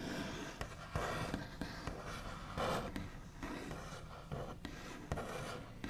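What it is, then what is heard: Wooden table top. The backs of one hand's nails tap and scratch across the large, solid, smooth top of a white-finished wooden table. About eight quiet, dull taps with short ring stand out over a continuous scratchy rustle at an uneven pace.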